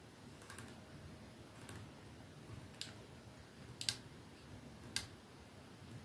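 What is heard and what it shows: Fingertips and nails tap slowly on the silver metal sleeve of a medium-small, hollow, capsule-shaped 212 perfume bottle with clear glass domed ends, lying on a dark surface, its fill unknown. Six short, bright, crisp ticks sound at uneven intervals over a quiet, low background hiss. Each tick dies away almost instantly.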